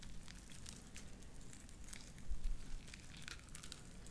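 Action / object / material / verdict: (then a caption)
scrape / beaded slime squeezed between fingers / slime / none. Light-blue beaded sticky slime is squeezed and pulled off spread fingers with long dark nails. Sticky, wet popping and bright crackles ride over a steady low rumble, swelling louder briefly just past the midpoint.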